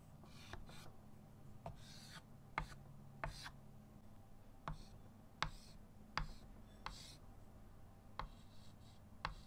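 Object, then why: Chalk stick on a wooden-framed chalkboard. A white chalk stick held in the fingertips draws leaves on a small, flat chalkboard set in a wooden frame. Short, bright, scratchy strokes alternate with sharp taps on the board at an irregular pace. A quiet, steady low hum runs underneath.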